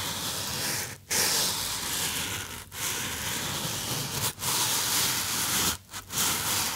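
Fingertips rub the sides of a small white polystyrene foam box held close to the microphone and tap its surface. A steady, bright, hissy squeaking scrape runs throughout, broken by a few brief pauses. The rubbing resumes after each gap.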